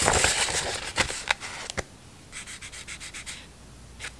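A hand-sized stack of thin printed decorative scrapbook paper with a Harry Potter theme is held in both hands while the sheets are flipped and rubbed against each other with fingertips and long nails. A dense, bright rustling and sliding opens the clip, then a few sharp, crisp paper flicks follow. A softer run of quick, rhythmic brushing strokes comes next, and one last flick ends it.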